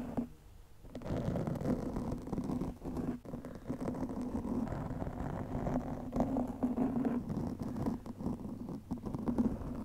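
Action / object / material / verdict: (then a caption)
scrape / foam microphone windscreen / foam / none. Long nails of both hands scratch a black foam windscreen over a microphone, making a dense, muffled scratching and rustling with a low rumbling hum around 215 Hz. After a brief quiet start, the scratching runs almost continuously, dipping only in short pauses and never growing bright.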